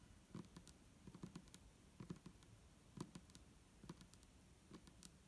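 Long nails of both hands tap the sides of an upright, hollow, clear plastic micellar water bottle with a green cap and liquid inside. The result is a quiet, irregular patter of short, soft clicks with a low, hollow body and bright, crisp tips that stop almost instantly.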